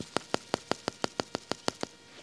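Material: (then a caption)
Plastic. A plastic water delivery pipe that is full of water is tapped eleven times at a steady pace. Each tap is a short, dull knock with almost no ring. The damped sound shows the section is full, in contrast to an empty stretch of the same pipe.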